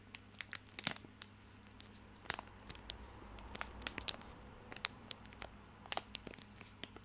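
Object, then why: Plastic film soap wrapper. A small bar of soap in a crinkly plastic film wrapper is held in both hands while fingertips scratch and crinkle the wrapper. Quiet, bright, crisp crackles and sharp snaps come in irregular bursts, each dying away almost instantly, over a faint steady low hum.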